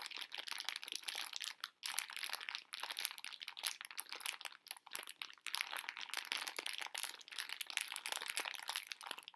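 A full pink plastic-film bag of conversation heart candies is held close in both hands, crinkled and scratched with long nails while the candies rattle inside. The result is dense, bright, crackling crinkle noise with no low end, running almost continuously for about nine seconds with brief drops near 1.8 and 4.7 seconds.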